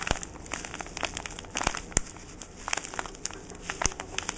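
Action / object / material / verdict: scrape / paper-wrapped parcel tied with twine / paper / none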